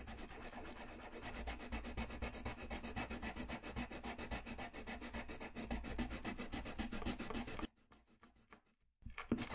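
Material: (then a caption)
Paper. A colored pencil shades an area on a thin, solid sheet of flat white drawing paper resting on a desk, making fast, steady scratching and rubbing strokes with a broad, papery hiss. The strokes run continuously for about eight seconds, then stop into near silence before a brief final scratch at the end.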